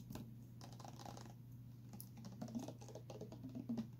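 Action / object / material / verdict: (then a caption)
tap / clear plastic water bottle with a straw inside / plastic / none. A tilted clear plastic water bottle with a straw inside is tapped with nails and fingertips, making quiet, irregular, soft clicking taps over a steady low hum. The taps are light and mostly dull, with occasional brighter ticks and a few slightly louder knocks near the end.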